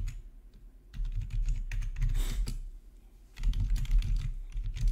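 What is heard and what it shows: Fingertips type on a full-size black plastic RGB backlit gaming keyboard with a hollow housing, resting on a marble surface. Bursts of quick, hollow, low-pitched clacks come in clusters with brief quieter pauses between them, and a soft swish sounds near the middle.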